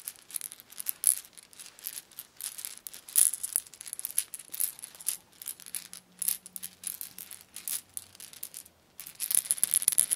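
A yellow hollow lattice plastic baby ball with a small rattle inside is held up in one hand and shaken. It makes a steady stream of quick, dry, bright rattling clicks, with short pauses around the middle and near the end. Each click dies away at once.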